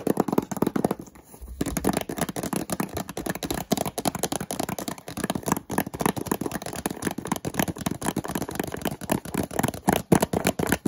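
Fingertips and nails tap and scratch the sides and edges of a small, hollow white cardboard product box. The result is a fast, continuous patter of dull, papery taps with a little scraping, mostly low and midrange, with a brief pause near the start.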